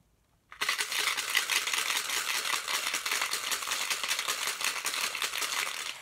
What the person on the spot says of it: that sound also is a little clangy so maybe there's some metal in there too